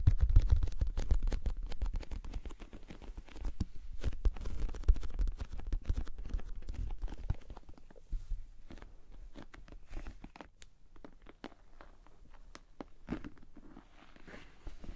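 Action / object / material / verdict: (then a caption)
tap / glossy plastic cosmetic bag / PVC plastic / none. Long painted nails tap and scratch across the shiny surface of a medium-sized pink glossy patent plastic (PVC) Ted Baker makeup pouch with a bow on the front, held in both hands; the pouch is hollow and soft-sided. Rapid, irregular soft taps and crinkly scratches give a dull, low thumping patter that is louder in the first half and grows quieter and sparser toward the end.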